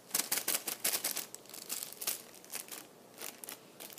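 A small, clear, thin plastic bag, partly full of hollow red-and-white plastic candy wrappers, is held and crumpled by fingertips on a cushioned chair seat. It gives a quick, irregular run of bright, crisp crinkles and squeezes with almost no low end. The bursts are loudest at the start and soften into quieter rustling toward the end.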